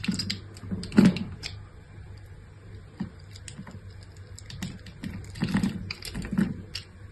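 A solid pink bar of soap, scored in a grid pattern and held in the hand, is sliced and scraped into flakes with a metal utility-knife blade. Its edge cuts and scratches the soap in a run of short, crisp scraping strokes over a low hum, with the loudest cuts near the start and again toward the end.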